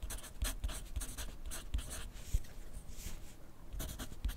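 A graphite pencil scratches across a thin lined paper pad lying flat on a desk in steady writing strokes. The result is a soft, continuous run of dry, bright scratching bursts over a faint low thudding from the pencil pressing on the pad.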